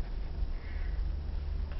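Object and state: Nothing is struck.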